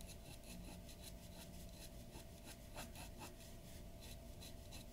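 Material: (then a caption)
Paper. A glass dip pen nib scratches ink strokes across a large white paper sheet lying flat on a wooden desk. Quiet, dry scratching and rubbing come in a run of short, bright strokes over a steady low hum.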